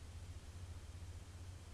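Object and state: Nothing is struck.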